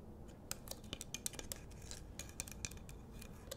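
Long nails scratch and tap the rough surface of a large, solid pink rock-salt Himalayan salt lamp on a wooden base. The result is a quiet, uneven run of short, bright, dry clicks and ticks with no ring, over a low, steady background hum.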